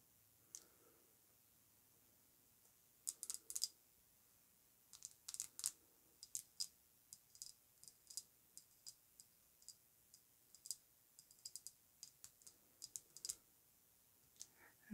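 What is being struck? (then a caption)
Glass perfume bottle. Long pointed nails tap and click on the glass face and edges of an Amouage Guidance pink glass perfume bottle, hand-sized and apparently full, lying on faux fur. A few dozen quiet, bright, sharp clicks with almost no ring come at an irregular pace, some in quick clusters and others separated by short pauses.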